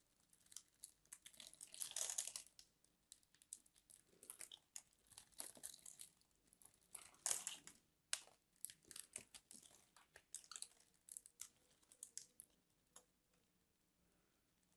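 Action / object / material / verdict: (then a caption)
scrape / bar of soap / soap / none. A metal craft knife scratches and carves small cubes out of the surface of a solid white bar of soap held in the hand, and the cubes crumble off. The result is a quiet, dry, bright crinkling and crumbling made of many rapid short scrapes. Denser bursts come near the start and middle, and the sound thins out toward the end.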